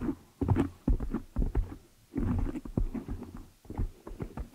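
Long nails scratch and fingers rub the black foam windscreen on a desktop microphone. The result is a run of close, muffled scraping and rustling bursts with a deep, boomy low end and almost no high sparkle.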